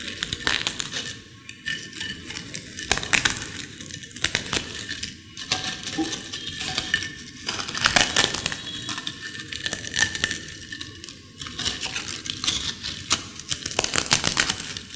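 Long-nailed fingertips crush and break a pile of thin, dry, crisp potato chips in a white ceramic bowl, possibly touching the bowl as well. Dense, bright crackling and snapping runs throughout in repeated bursts, with short, sharp crunches and little low end.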